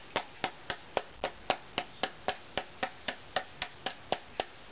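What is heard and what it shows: An unvarnished, thin, arched spruce violin top plate is held in one hand and knocked with a knuckle and fingertips, 17 times at a steady pace of about two per second. Each knock is a short, dry tap with a brief tone near 760 Hz that dies away almost at once.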